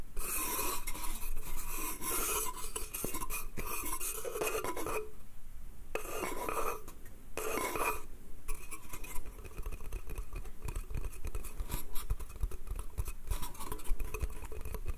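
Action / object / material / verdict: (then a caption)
scrape / small wooden slatted crate / wood / none. Fingernails scratch and rub along the slats of a small, empty, hollow wooden slatted crate printed with "BATH." The result is a steady, dense, bright rasping over a low hollow rumble, with a few brief quieter pauses in the middle.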